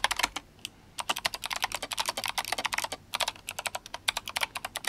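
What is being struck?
Mechanical keyboard with plastic keycaps.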